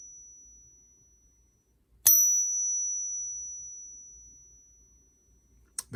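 A silver coin from a hoard, one that only weakly clings to a magnet, is pinged with a pocket pinger. A sharp strike gives a thin, high, pure ring that fades slowly over about three seconds, and a brief clack follows at the end. The ring does not match the expected frequencies, so the coin is judged not genuine.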